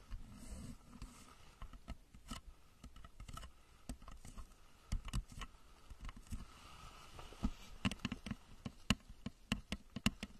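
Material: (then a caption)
Plastic. Long nails tap and scratch the body, then the nose cone, of a hollow plastic rocket-shaped lamp cover placed over the microphone. Quick, dry, hollow taps ring off within a fraction of a second, with a low resonance and bright clicky edges. Soft scratching runs between them.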